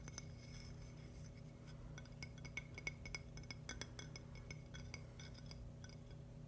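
A thin, palm-sized, polished purple agate slice with a crystal centre, solid, is tapped and scratched with fingernails. It gives a run of quick, light, glassy clicks and chinks with a short bright ring near 2.2 kHz, between softer scratching. A steady low hum runs underneath throughout.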